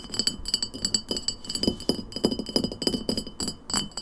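An empty glass lemonade bottle stands upright and is tapped quickly with long nails on its glass shoulder and label. The result is a rapid stream of short, bright clinks with little ring, over a faint steady high tone.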